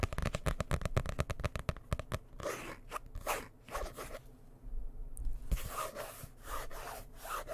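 A dark blue hardcover book is held close and rubbed and scratched with the fingers. A burst of quick, dry scratching strokes gives way to slower, swishing rubs over the cover, with a brief near-silent pause before the rubbing resumes. The sound is close and bassy with crunchy, zipper-like texture.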